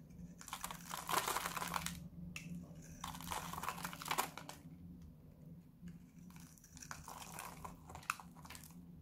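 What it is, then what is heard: Dry bar soap being shaved. A solid white/beige oval bar of dry soap, held in the hand, is shaved with a metal utility-knife blade, and the shavings drop onto the wrapper. Dense, crackly scraping comes in three bursts with bright, rustling texture and a few sharper crisp snaps. A faint steady low hum runs underneath.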